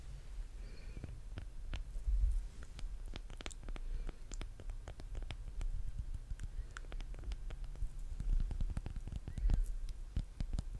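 Long painted nails tap and scratch a solid pink handmade soap bar with a yellow top, held close to the microphone. Quick, sharp ticks and clicks land irregularly throughout over a soft, low rumbling bed. A few slightly louder scratches stand out.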